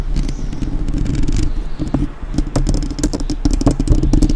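Long nails on both hands rapidly scratch and tap the metal mesh grille of a black, uncovered microphone. The result is a dense, continuous stream of muffled, boomy thumps and scraping clatter, heavy in the low end with a faint steady hum near 300 Hz and sharp bright clicks on the harder taps.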